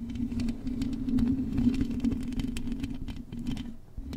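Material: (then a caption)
Metal. Long acrylic nails scratch and tap across the hollow metal mesh grille of a silver microphone. Quick, irregular clicks and scrapes patter over a steady low hum that drops out briefly near the end.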